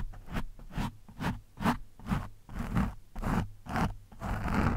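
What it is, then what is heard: Foam microphone windscreen being scratched. The thin steel shaft of a screwdriver scratches and pokes an orange foam windscreen on a microphone, the foam soft and porous. About nine close, rasping scratch strokes come at roughly two per second in an uneven rhythm, each a gritty brush-like swish over a heavy, muffled low-end thump.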